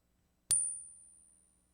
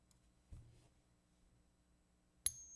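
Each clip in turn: First: non-silver clad quarter. Second: genuine silver quarter.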